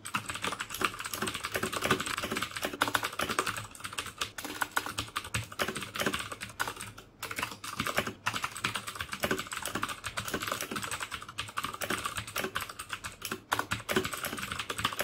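Fingertips type steadily on the keycaps of a black plastic mechanical keyboard with clicky Cherry MX Blue switches. The rapid, dense stream of sharp, bright clicks and clacks dies away almost instantly and has little low end. A brief lull comes around the seven-second mark before the typing resumes at the same pace.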